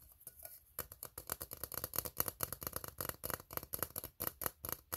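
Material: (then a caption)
Steel. Fingertips tap the bottom of an empty, hollow, ribbed steel tin can while nails scratch across its ribs. After a quiet opening, a quick run of short, dry taps and scrapes follows, each with a brief bright metallic edge and almost no ring.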